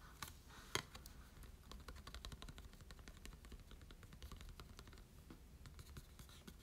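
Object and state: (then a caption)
Cardstock card tapped and scratched. A small printed Marshadow promo card of glossy cardstock is held in the hands and tapped and scratched with short nails and fingertips. The result is a quiet run of crisp, dry clicks and scratchy rustles over a low rumble, with one sharper tap standing out near the start.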